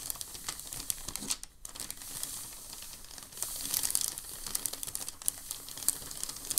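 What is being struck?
Thin packing paper sheet.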